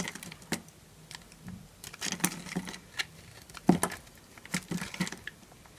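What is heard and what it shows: A small knife carves a solid yellow bar of dry soap held in a hand with long nails, scraping and cutting off crunchy flakes. A quick, uneven series of short, dry, crisp scrapes and crackles is heard, each snapping off with almost no ring and bright edges over a soft low body.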